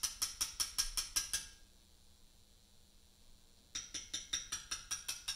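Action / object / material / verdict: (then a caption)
strike / limestone memorial slab struck with a steel chisel / limestone / none. A carver strikes a chisel held against a large solid Portland limestone memorial slab with a mallet, cutting letters. Eight quick, bright taps with a high metallic ring come first, then a pause of about two seconds, then nine more steady taps, seventeen in all.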